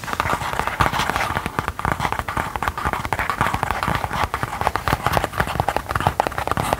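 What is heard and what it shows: A small, thin, soft gold metallic faux leather folding wallet or pouch is held in the hands and tapped and scratched with long gold claw nails. Rapid, dense, dry taps and crinkly scratching run throughout with a papery midrange character and a steady, close sound.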